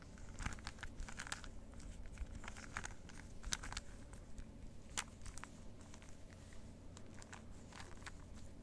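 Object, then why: Plastic 3x3 puzzle cube. A plastic 3x3 Rubik's cube is held in both hands while fingertips turn its faces over and over. The result is a string of quick, bright plastic clicks and clacks, some louder than others, over a steady low background rumble.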